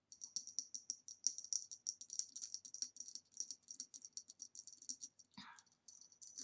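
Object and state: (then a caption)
Glass vase tapped with fingernails. Long nails tap rapidly on the base and sides of a hollow, ribbed green glass vase standing upside down. They make a quick, steady run of short, bright glassy clicks with a high ringing tone that dies away almost instantly. Near the end, one softer, duller knock with a brief lower sweep breaks the pattern before the light tapping resumes.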